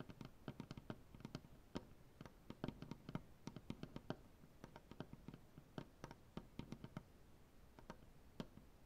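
Fingernails on both hands tap rapidly across a solid, light maple butcher block tabletop. The result is a quiet, uneven stream of short, dry clicks with a soft low woody knock under each one and almost no ring.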